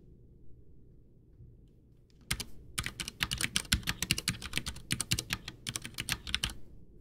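A full-size white plastic Ducky One 2 mechanical keyboard with Cherry MX Brown switches, backlit with a hollow case, sits on a desk while both hands type with their fingertips, pressing and tapping keys. After about two seconds of faint low hum, a quick, irregular run of sharp, bright, clacky keystrokes follows, each click dying away almost instantly. The typing continues in uneven bursts until the end.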